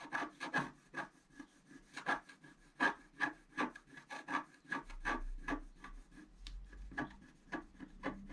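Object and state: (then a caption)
Scratch-art paper card being scratched. A pointed wooden stick scratches a flat, coated scratch-art paper card lying on a table in steady strokes. Each stroke is a short, dry, raspy scrape with a faint squeaky tone around 1.6 kHz, repeating irregularly. From about halfway through, a low hum sits underneath.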